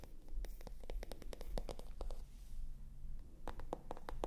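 Long nails scratch and tap the surface of a small, hollow, pale pink glossy patent-look faux leather handbag with a gold chain, held in the hands. It makes quick, irregular, dry clicks and scratchy ticks over a dull low thump, with almost no ring after each tap.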